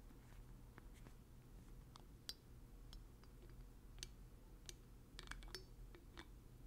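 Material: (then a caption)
Glass. Fingers twist a black plastic dropper cap on and off a small blue glass oil bottle. Quiet, scattered, bright clicks and scrapes of plastic on glass sound over a steady low hum.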